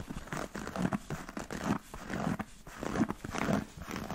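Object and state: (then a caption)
Leather boot tapped and scratched. A black smooth-leather Chelsea boot with a thick rubber sole is held sideways while fingernails tap and scratch its leather upper and elastic side panel. The result is a steady run of soft, dull taps mixed with dry, crinkly scratching, mostly low and mid in tone with little high brightness.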